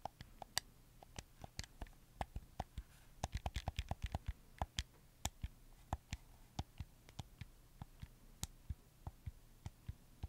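Fingertips click the buttons and joysticks of a red camo PS4 game controller made of hollow plastic, producing about 25 sharp, dry clicks with almost no ring. The clicks are spaced irregularly and bunch into a quick run around the middle of the clip, over a faint low hum.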